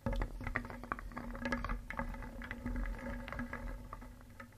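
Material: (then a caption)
Wood. A wooden spoon held in the fingers vigorously stirs small, solid, painted wooden toy pieces in a wooden bowl, so they knock together. The result is a continuous, dense clatter of short, dry wooden clicks and knocks. A faint, steady low hum runs underneath.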